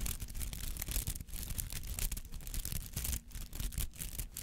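Fingertips and nails scratch through the many bristly petals of a palm-sized rubber artificial flower held in both hands. The result is a dense, irregular, scratchy rustling with bright crackly bursts over a heavy low rumble, briefly dipping quieter a couple of times before continuing.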